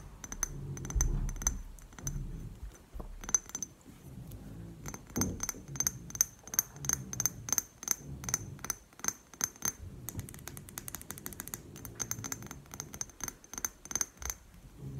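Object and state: Glass perfume bottle tapped with fingernails.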